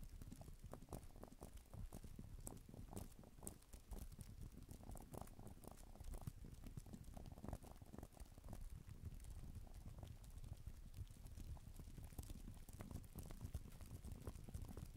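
Long nails type on the plastic keys of a black type-cover keyboard for a tablet, with an echo effect added. A continuous patter of rapid, soft clicks and taps runs throughout, mostly low and muffled with faint bright ticks on top.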